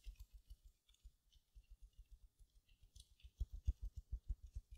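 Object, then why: Foam sponge wrapped in mesh. A small silver glitter mesh-covered foam sponge is held up beside the mic while long nails scratch its mesh surface. The result is a quiet, fast, uneven series of soft, muffled scratchy taps with a faint high crinkly hiss, growing louder in the last part of the clip.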